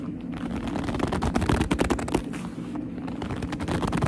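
Long almond-shaped nails squeeze and scratch a medium black leather handbag with a soft, hollow body, making squeaky gripping sounds. Dense, low-heavy crinkles, creaks and scrapes pulse continuously at a fairly steady level, with short, bright squeaks over a thick bottom end.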